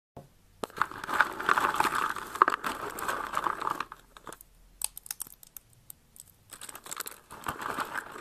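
Fingers with long red nails crumble and crush a pile of thin, hard, brittle blue and pink dried soap shavings in a box. A dense, crisp crunching and crinkling centered in the midrange runs steadily for the first four seconds, then breaks into sparser, sharp bursts of brittle cracking before building into steady crunching again near the end.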